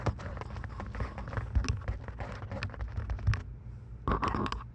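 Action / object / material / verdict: tap / plastic over-ear headphone earcups / plastic / none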